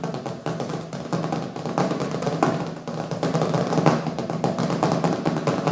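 Both hands tap fast with fingertips and nails on the colorful printed cover of a small, solid hardcover book lying on a wooden table. The result is a dense, continuous patter of short, dull knocks with a woody low-mid tone and very little brightness. Each tap dies away almost at once.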